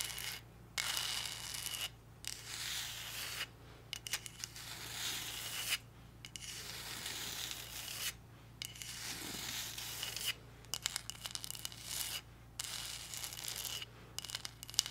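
Long nails rub and scratch the glittery surface of a hollow, pink, heart-shaped glitter cardboard box. The result is a bright, dense, gritty rasping in repeated strokes, broken by brief silent pauses, over a faint steady low hum.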